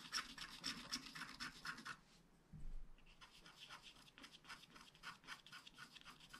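A wooden stylus scratches the coating of a flat black scratch art card made of wax-coated paper, producing rapid, bright, rasping strokes. After a brief pause and a soft low thump, the scratching resumes more quietly in a steady back-and-forth rhythm.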